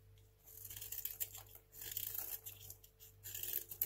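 A craft knife shaves crunchy slices off a small, solid, dry, white stamped hotel soap bar held in the hand. The sound is bright, crisp scraping and crackling that comes in a few dense bursts, with a faint steady low hum underneath.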